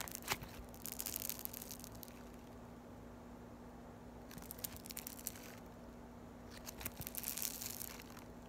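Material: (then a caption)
Foam beads. Yellow floam, foam beads in slime, is held solid and stretched and pulled between fingers with long white nails. Three bursts of bright, crackly tearing and crushing come through, with quieter gaps between them over a faint steady low hum.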